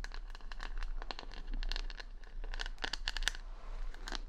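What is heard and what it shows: Long nails scratch the plastic rhinestone stickers covering the back of a wooden paddle hair brush, right next to the microphone. A dense run of crisp, crinkly scratches and bright clicking ticks continues throughout, over a steady low hum.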